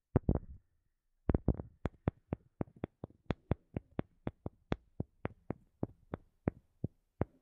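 A wooden object is tapped in a steady rhythm with no talking. About two dozen short, dry knocks sound after a quick opening burst and a brief pause, each one low and thuddy with a faint brighter tick and almost no ring.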